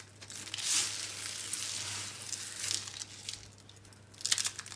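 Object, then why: Soap curls. Bare hands squeeze and crush small, hollow, dry green-and-pink recycled soap curl rolls in a pile of soap crumbs. The result is a bright, crisp crunching and crinkling that swells in bursts, loudest near the start, the middle and the end, over a faint steady low hum.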